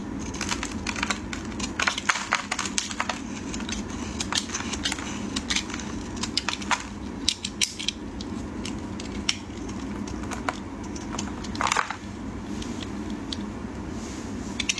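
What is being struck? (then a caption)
Bar of soap scraped with a metal blade. A solid rectangular white soap bar, held in fingers wearing pink cut-resistant finger cots, is scraped and shaved with a metal utility blade as flakes fall away. A rapid, uneven stream of short, crisp, bright scraping clicks and crackles plays over a steady low background rumble, with a few louder bursts throughout.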